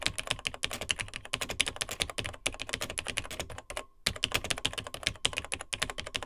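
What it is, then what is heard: Plastic laptop keyboard being typed on. A Tandy TRS-80 Model 100, a beige plastic vintage portable computer with a built-in keyboard of dark plastic keys, is typed on rapidly by the fingertips of both hands. The clip is a dense run of short, bright plastic key clicks with very little ring. There are brief pauses near 2.4 and 3.7 seconds before fast typing resumes.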